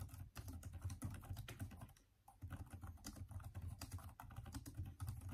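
Fast, continuous fingertip typing by both hands on a backlit, plastic-key Microsoft Surface tablet keyboard. It makes a dense run of soft, low, thumpy key taps that die away quickly, with a brief lull near the two-second mark before the typing picks up again.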